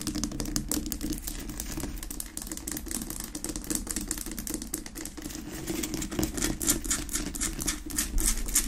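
Long nails tap and scratch quickly on a large, solid pink rock-salt Himalayan salt lamp resting on a wooden base, unlit. Dense, irregular clicks and bright scraping rasps run continuously over a steady low body, with short dry taps that die away almost instantly.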